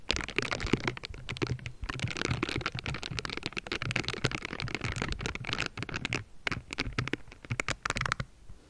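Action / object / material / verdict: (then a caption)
scrape / metal mesh microphone grille brushed with a silicone glove / metal mesh / none. A pink silicone bristle glove brushes and scratches across the top of the hollow metal mesh grille of a Blue Yeti microphone. Dense, rapid scratchy rasps with crackly bright bristle texture and low rumbling thumps run almost nonstop, easing briefly near the six-second mark before the strokes resume and thin out at the end.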